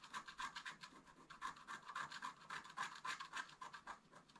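A wooden stylus scratches fine lines into the upper right ornament of a flat, wax-coated scratch-art paper card lying on a table. It makes a quick, fairly steady series of short, dry scratching strokes, about three or four per second. Each stroke is bright and raspy, with a thin whistling tone near 1 kHz and almost no low end.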